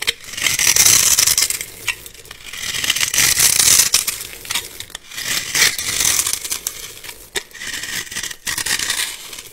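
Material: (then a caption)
Soap. A metal utility-knife blade scrapes and carves a solid, palm-sized bar of blue glitter soap held in one hand, cutting it into small cubes that crumble off. The sound is a bright, dry crunching and scraping, with rapid irregular strokes in swelling bursts and almost no low end. Each stroke ends in a quick crackle as the pieces break away.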